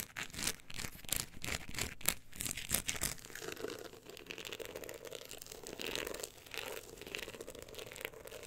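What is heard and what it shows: Long acrylic nails scratch across the woven-look embossed cover of a solid, closed book lying on fur. For the first three seconds there are quick, bright, crackly scratching strokes. These settle into a softer, steadier rasping rub with a low-mid hum underneath.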